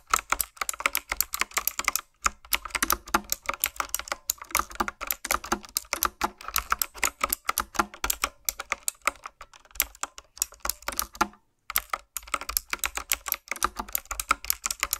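Fingertips with long nails type steadily on a retro-style mechanical keyboard with round plastic keycaps. Rapid, bright clicky keystrokes run through the clip, broken by a few brief pauses.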